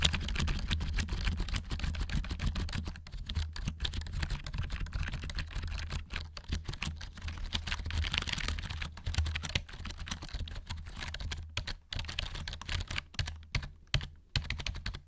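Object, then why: Plastic gaming keyboard. A full-size black plastic RGB-backlit HyperX gaming keyboard is held upright in front of the microphone while fingertips and nails tap and press its plastic keys. Rapid, dense clicky clacks run throughout over a steady low hum, with brief pauses near the end.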